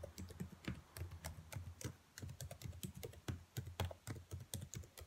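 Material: Plastic.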